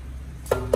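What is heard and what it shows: The metal housing of a BTEC BT200CU two-wheel bench grinder (200 mm wheels, 550 W, copper-wound) is tapped twice. Each tap gives a short, bright knock with a brief ring near 480 Hz over a low steady hum.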